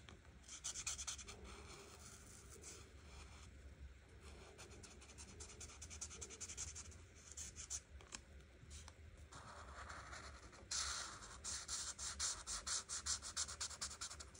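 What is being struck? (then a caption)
Marker tip on a paper coloring page. An art marker tip scratches and rubs across a flat paper coloring book page while coloring, making a dry, bright scratching sound in quick, uneven strokes. The strokes come in bursts, quieter and steadier through the middle, then louder and more choppy toward the end.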